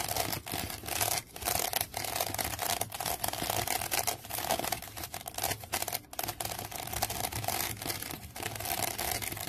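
Long fingernails scratch the side of a woven wicker basket resting on carpet. The result is a dense, bright, crackling scrape that runs almost continuously, with a few brief dips between strokes and a faint steady tone around 760 Hz underneath.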